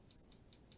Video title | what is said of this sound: Working with nail sequence and applying foil dips b!*cH | you want to sit until you hear that when you tap the nail